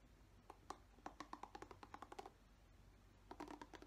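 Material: Plastic.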